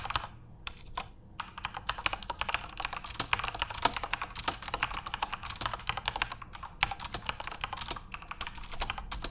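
Both hands type rapidly with their fingertips on a full-size Corsair RGB-backlit mechanical keyboard with plastic keycaps. The result is a dense, steady stream of short, bright plastic clicks and clacks over a faint low rumble, with occasional louder keystrokes standing out.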